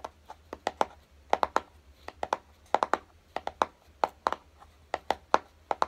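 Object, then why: Small closed cardboard box. Fingertips tap and lightly scratch the top of a small, hollow, closed kraft-cardboard box resting on a dark table. About 24 short, dry, hollow taps come in quick irregular clusters. Each has a mid-pitched knock that dies away almost at once, with faint scratching between taps.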